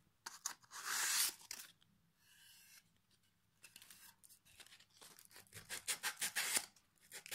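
A folded piece of sandpaper held in the fingers is rubbed back and forth along the edge and face of a flat solid pine plank with small metal hooks attached, held in the lap. Bright, dry rasping strokes come in uneven bursts: a long loud scrape early on, then a quieter, softer stretch of rubbing, followed by a run of quick, short scratchy strokes near the end.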